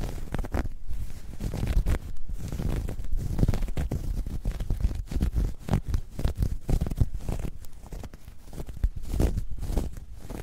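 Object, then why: Knitted fabric bag. Long nails pinch and scratch a soft, hollow, dark grey ribbed knit fabric bag. A dense run of low, muffled scratching and rustling bursts goes on throughout, with almost no bright high end.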